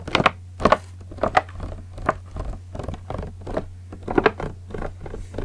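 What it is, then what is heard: Plastic water bottle. Fingertips and nails scratch and tap the ribbed plastic of a large clear green PET bottle with a red cap, partly filled with liquid. Short, dry crinkling taps and scratches come in uneven bursts, with no ring afterward, over a steady low hum.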